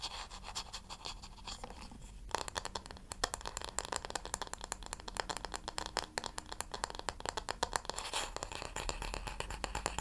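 Fingertips and long nails tap and scratch the smooth, solid wooden back of a wooden paddle hair brush that has been turned over. A fast, dense run of crisp, short clicks and scratchy strokes grows busier and louder after the first couple of seconds and continues steadily to the end.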